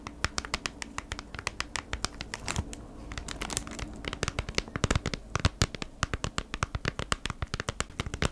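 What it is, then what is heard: Plastic-sleeved cardboard package. Long nails tap and scratch across the crinkly clear plastic sleeve of a flat beeswax wrap retail pack, a cardboard insert inside, held upright. About 55 quick, sharp clicking taps with bright crinkle, over a soft scratchy rustle and a low hollow thud from the cardboard.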